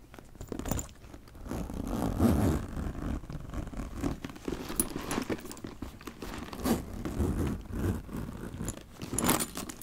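A small brush strokes and scratches the surface of a black leather handbag with a gold chain while fingers hold the bag. The result is a dry, scratchy rustling in uneven swells, heavy in low-end rubbing, with brief bright scrapes cutting through now and then.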